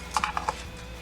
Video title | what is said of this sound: The Best Flavorful Lemon Pepper Chicken Recipe - How To Make | you can hear how crispy the chicken is